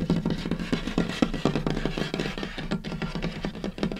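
Fingertips and short nails of both hands scurry, rub and tap across a large, solid, light-colored wooden tabletop with a butcher-block style surface. Rapid, irregular dry taps with very short decay ride over a continuous scratchy rubbing. The sound is woody and low-mid centered, with little high brightness.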